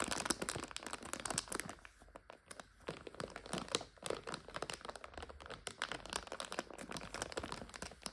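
Long nails scratch and pinch a clear plastic bag full of dried egg noodles, crinkling it. A dense stream of sharp, bright crackles and crunches fills the clip, easing into a brief quieter stretch around the middle before the crinkling picks back up.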